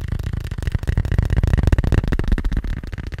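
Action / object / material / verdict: tap / fabric-covered hard glasses case / fabric, plastic / none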